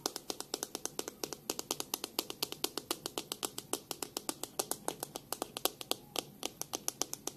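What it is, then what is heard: Plastic hairbrush. Long pink nails tap on the plastic back of a black plastic hairbrush and flick its bristles as it is held first bristle-side and then by the back. There are about 55 quick, crisp clicks in a steady rapid run, each dying away almost instantly. The clicks are bright and dry with a light midrange body and almost no low end.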